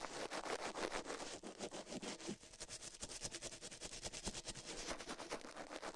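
Toothbrush bristles scrub the soft silicone right ear of a binaural microphone mounted on a metal mic plate, while the left ear is left untouched. The result is a fast, uneven run of bright, rasping scratch strokes that blend into steady broadband hiss with little low end.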